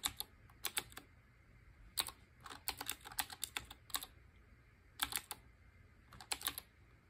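Fingertips with short painted nails type on a black Qwerkywriter BIOHAZARD collaboration, a retro typewriter-style mechanical keyboard with round chrome-ringed keycaps. Bursts of sharp, bright, clicky keystrokes come in quick clusters separated by short pauses. Each stroke dies away almost instantly over a faint low background hum.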